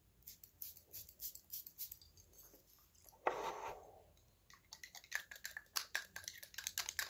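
Fingernails tap slowly on a small, hollow purple glass perfume bottle with a label and a red cap, striking both the glass and the cap. Quiet, bright clicks with almost no ring come in uneven clusters, broken near the middle by a second-long rushing, hissing sound. After a short pause, the tapping resumes at a quicker pace.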